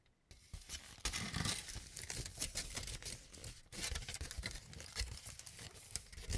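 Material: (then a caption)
Aluminum foil. A large crumpled sheet of aluminum cooking foil is held up in both hands and crinkled, pulled and rubbed with the fingertips. After a brief quiet start, it makes a dense, continuous crackling and rustling with sharp bright snaps over a low rumble of handling. The sound swells and eases as the foil is worked.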